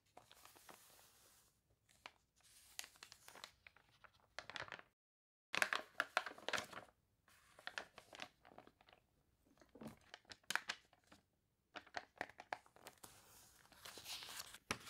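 Long nails rub and scratch the wavy pages of a glossy paper toy catalog. Bursts of dry, crinkly, crunchy rustling with bright, high texture and very little low end are separated by short silent pauses.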